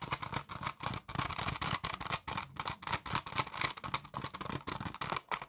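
A small, hollow blue plastic PS4 game case for The Last of Us Part 2, closed and possibly still in its wrapping, is held in both hands and tapped and scratched with the fingertips. Quick, dry clicks and scratchy bursts repeat steadily with faint crinkling, centered around 900 Hz with bright upper detail and almost no ring.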